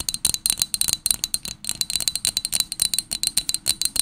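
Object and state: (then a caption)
Glass tumbler tapped with fingernails. A small, hollow pink Pottery Barn glass tumbler, held in both hands, is tapped rapidly with long nails, about 25 times in four seconds. The result is bright, rattling glass clinks with a very short, high ring.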